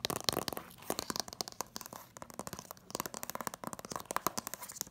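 Long nails rapidly tap and scratch the front of a hand-held cardboard slipcover on an Incredibles DVD set. The result is a quick, uneven run of crisp, dry taps mixed with scratchy, papery rasps. The sound is bright and light with almost no ring.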